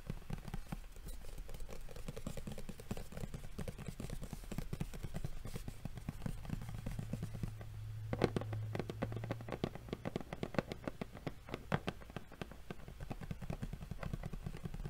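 Fingernails rapidly tap and scratch on the lid of a hollow, printed cardboard Yu-Gi-Oh card game box. The result is a dense, steady stream of dry, short clicks with a low, hollow body, lightly overlaid with soft scratching.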